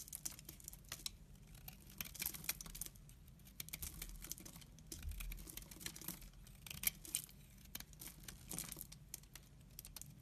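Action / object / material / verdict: scrape / laundry soap bar / soap / none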